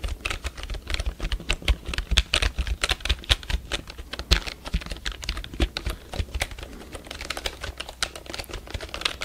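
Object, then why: Plastic computer keyboard. Fingertips tap and press the keys of a full-size black plastic computer keyboard held upright by the microphone. The result is a quick, uneven run of short, dry clicks with bright edges and almost no ring, over a steady low rumble.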